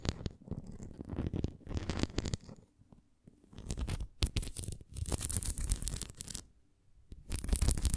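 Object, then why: Plastic flying disc toy. Long nails scratch and tap along the rim and bumps of a red plastic flying disc toy held upright. The result is dense, rough scratching and quick tapping in bursts, mostly low and muffled with brief bright streaks, separated by short quiet pauses.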